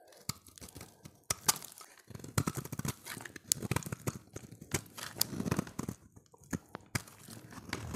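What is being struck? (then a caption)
Solid bar of soap. A solid, dry, light blue oval bar of soap held in the hand is shaved with a utility knife blade, and flakes break off. Dense, crisp scraping and crunching strokes come in quick irregular bursts with sharp high clicks, separated by brief quiet gaps.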